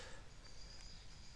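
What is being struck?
Nothing is struck.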